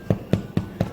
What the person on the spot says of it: 빵이 아주 잘 된 것입니다.